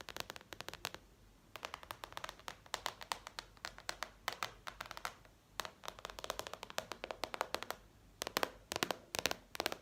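Fingertips tap rapidly on a gray plastic IKEA cutting board with a ridged back, making dozens of short, dry, bright clicks with almost no ring. The taps come in quick bursts separated by brief pauses, over a faint low background hum.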